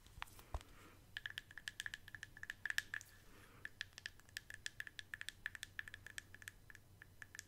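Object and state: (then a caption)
Plastic cosmetic jar. Long acrylic nails scratch and tap the side and flat bottom of a hollow white plastic Elemis cosmetic jar with a lid. The result is a quiet run of quick, dry clicks and light scratches, each with a faint, short plastic ring in the upper midrange.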